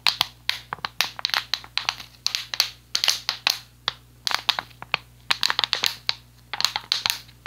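An empty, hollow, clear PET plastic water bottle with a blue cap is held in one hand and repeatedly squeezed and crushed by the fingers. It produces a rapid series of sharp, bright crinkling crackles that die away almost instantly, with quieter rustling between the bursts.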